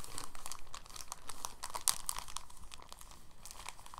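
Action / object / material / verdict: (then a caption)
scrape / thin plastic bag / plastic / none. A clear, thin, empty soft plastic bag is folded and squeezed with the fingers in a crinkling action. Dense, bright crackles and rustles run throughout, with a sharper, louder snap just before the two-second mark.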